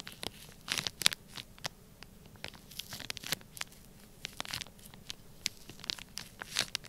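A black plastic stylus presses and scratches lines into a flat, sealed, clear plastic bag packed full of orange kinetic sand. Many short, dry, crinkly scratches and crunches sound in irregular bursts, bright and thin with almost no low end, each one stopping instantly without ringing.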